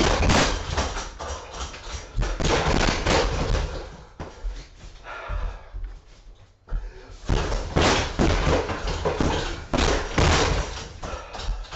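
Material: Vinyl.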